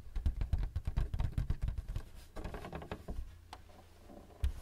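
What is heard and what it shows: Fingertips of both hands tap quickly on the flat surface of a thin white plastic paper-support flap on a printer. A rapid run of short, dull, low-heavy taps fills the first two seconds, then lighter scattered taps follow. The clip ends with a brief louder flurry.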